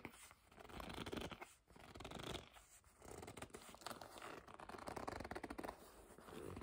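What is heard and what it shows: Long nails scratch and grip the surface of a hollow black leather bag. The result is a continuous, quiet, dry scratching and rubbing texture that swells and fades in waves.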